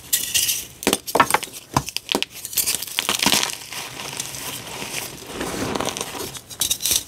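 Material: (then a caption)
Chalk. Two solid pink dyed gym chalk blocks are held in the hands and crumbled into powder in a tray. Sharp, bright snapping crunches come first, then a steadier, softer gritty rubbing as the chalk is crushed. The clip ends with a few more crisp cracks.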